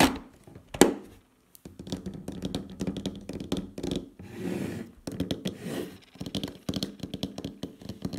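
The fingernails of both hands tap a closed, black, glossy plastic Douglas makeup palette case, an oval, hand-sized hollow case with makeup trays inside, resting on a wooden table. Quick, dry clicky taps come in irregular flurries with a short, hollow resonance, broken by a brief pause early on and a couple of brighter, scratchy bursts near the middle.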